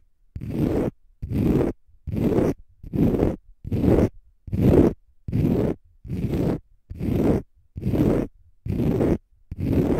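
Short fingernails scratch a palm-sized, solid, porous, pale-green dry konjac sponge in fast strokes. About a dozen evenly spaced bursts of dense, raspy scratching stand apart, each roughly half a second long and separated by brief silences. The sound is weighted toward the low and mid range with a dull, zipper-like texture.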